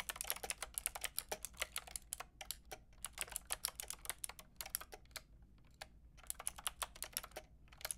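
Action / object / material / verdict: tap / plastic mechanical keyboard with round keycaps / plastic / none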